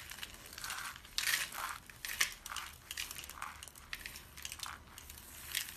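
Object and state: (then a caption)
Dry soap flakes crushed. Cupped hands with pink nails scoop and crush handfuls of white, dry, brittle soap shavings in a cardboard box. The result is a steady run of bright, dry crunching and crinkling with sharp, short bursts and little low end. The loudest crunches come around the 1.3- and 2.2-second marks.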